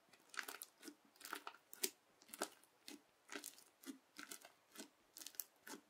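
A yellow plastic knife presses and cuts along a strip of teal crunchy bead slime. Quiet, crisp crunching and crackling bursts come about once a second at an uneven pace, each bright and short with almost no low end.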